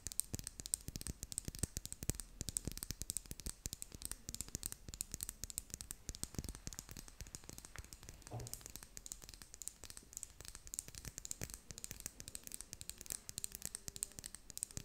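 Long painted nails rapidly tap and scratch along a small double-ended lip gloss tube of red and clear plastic with a metallic middle band, held in both hands near the face. The result is a dense, continuous stream of quick, dry plastic clicks and scratchy crackles with a bright, hissy edge and almost no ring after each tap.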